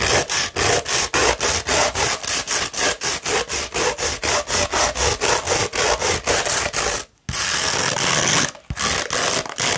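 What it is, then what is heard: Coarse sandpaper scratched by fingernails. Long red nails scratch along a hollow tube of coarse beige 60-grit sandpaper, rolled and held in one hand. About 30 quick, bright, gritty rasping strokes follow one another at a brisk, uneven pace, with a brief silent pause near the seven-second mark before the scratching resumes.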